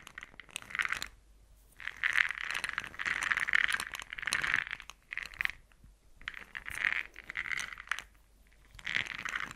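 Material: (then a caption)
Plastic. A small, round, brown plastic jar, open and full of small hard blush pearl beads, is held in the hands, shaken and tilted, and tapped with long nails. Bursts of bright, fine clicking rattle centered around 2 kHz come and go, separated by short near-silent pauses, with almost no low end.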